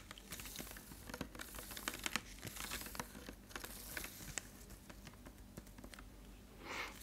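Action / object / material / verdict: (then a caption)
tap / thin plastic water bottle, partly filled / plastic / none. A clear, partly filled, hollow plastic water bottle is held up and tapped or squeezed with fingertips and nails. The result is a quiet, steady run of quick, dry clicks and crinkly crackles with bright highs, ending in a brief soft swell of crinkling near the end.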